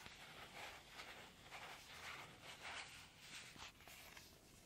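A flat, sealed, clear plastic foot-mask sachet with a printed card inside reading "Take care of your feet" is held in both hands and crinkled and rubbed with the fingertips and nails. The result is a quiet, bright, crackling rustle that swells and fades in loose, uneven waves, with little low end.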